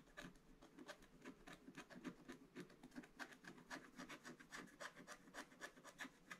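A wooden stylus scratches away the black coating of a scratch-art paper page in an advent calendar book, inside one calendar square, with the book lying flat on a table. Quick, uneven strokes of about three to four per second make a quiet, dry rasping that is brightest around 1.5 kHz and has a thin, high edge.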